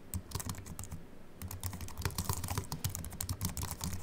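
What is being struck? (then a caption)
Aluminium-bodied keyboard with plastic keys. Fingertips of both hands type on a compact Apple keyboard with a silver aluminium body and white plastic keys, resting on a wooden desk. A fast, uneven run of short clicky keystrokes with soft low thuds and bright ticks briefly pauses around the one-second mark, then resumes more densely.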